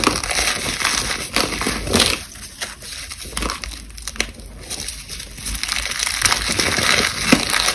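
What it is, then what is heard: Crumbling dried cornstarch paste. A hand holds a solid chunk of dried white cornstarch paste while the other hand's fingertips and long nails crush crumbles from a loose pile of the same material. The result is a steady, bright, gritty crunching and crackling, with sharper snaps scattered throughout. It eases to softer crumbling in the middle before building back up.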